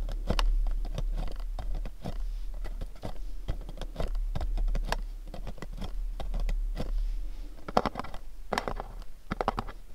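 Fingernails tap rapidly on the sides of a pink cube-shaped cardboard gift box. The result is a dense, continuous patter of short, dry, hollow clicks that stop at once with no ring, with a few scratchy scrapes mixed in over a low, steady background.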